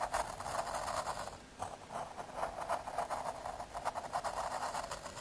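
A graphite pencil scratches short strokes across the surface of a small square of thin, solid brown MDF fiberboard. The result is a quiet, uneven series of dry, scratchy rasps, concentrated in the midrange with a faint bright hiss above.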